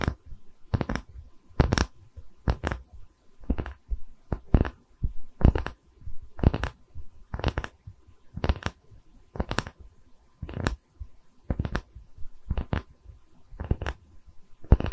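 A round solid wood tree-slice coaster with growth rings is held in both hands near the microphone while long nails scratch and tap its cut face. Short, dry, bright taps come in clusters through the clip, with soft low scratching and rubbing between them.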